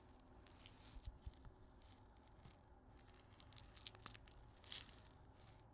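A small clear glass salt grinder with a black cap, full of pink salt crystals, is turned and shaken in the hands. The crystals give off quiet, bright, crisp rattling bursts over a soft low rumble. The rattling comes in uneven clusters of short gritty clicks.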